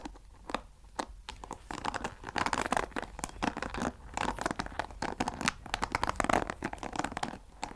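Fingernails scratch and flick the wooden pins of a wooden paddle hair brush close to the mic. The result is a dense run of dry, crackling clicks and scratchy rasps, with brief sharp flicks cutting through a crinkly, papery texture.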